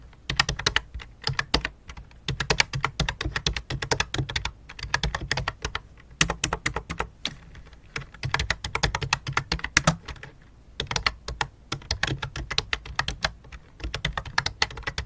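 Fingertips with long dark nails type rapid taps on a full-size white and light-blue plastic keyboard with a hollow plastic case, resting on black cloth. The taps come in quick, bright, clicky bursts, each with a short hollow low thump that dies almost instantly, separated by brief pauses across the clip.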